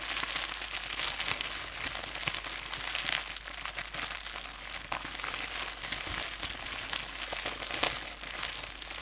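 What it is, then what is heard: Plastic bubble wrap crinkling. A loose sheet of clear plastic bubble wrap, wrapped around the microphone and held up in both hands, is crumpled and rubbed with the fingers. It gives a continuous, dense, bright crinkling, with sharp crackles and pops rising out of the steady rustle and almost no low end.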